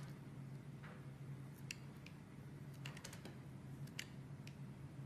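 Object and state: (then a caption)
Bar soap being carved. A metal blade scrapes and carves thin slices off the face of a solid, rectangular, translucent green and white swirled bar soap held in both hands with long red nails. Quiet, crisp scraping ticks and bright clicks sound irregularly over a steady low hum.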